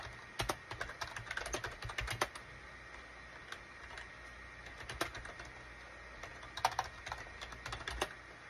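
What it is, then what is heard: Plastic computer keyboard. Fingertips type on a full-size gray and cream SHIPADOO K600 wired USB plastic keyboard with a hollow plastic case, resting on a desk mat. Quick runs of sharp, hollow clacks come in bursts, separated by quieter stretches of sparse taps. Each keystroke is short and dry, with a bright clicky edge over a faint steady hum.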